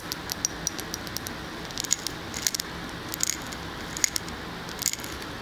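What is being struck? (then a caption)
Wax-filled glass candle jar. Long fingernails tap and scratch the glass side of a large glass candle jar filled with solid wax, held in one hand. The result is a scattered series of light, bright clicks with brief glassy pings, plus soft scratching, over a steady low hiss.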